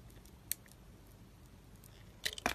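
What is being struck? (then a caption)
Bar of soap scraped with a knife blade. A utility knife blade scrapes a palm-sized, solid light-green embossed dry soap bar held in the hand, curling off wavy shavings. A faint quiet hiss carries a single sharp tick early on, then a burst of crisp, bright scraping crunches near the end.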